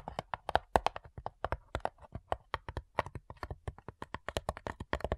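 Long nails tap rapidly across the closed lid of a hollow, flat rectangular cigar box of light wood with printed labels and small metal clasps. Some thirty short, dry taps each give a brief hollow knock centered around 720 Hz, with a faint bright click on top and almost no ring.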